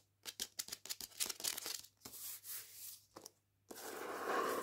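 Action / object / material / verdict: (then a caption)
scrape / hardback book with paper dust jacket / paper / none. Long painted nails scratch the paper dust jacket cover and spine of an upright hardback copy of "Jews Don't Count." A quick run of short, bright, dry scratches comes first, followed by longer, smoother rasping strokes. It ends in a sustained, rough scrape across the jacket.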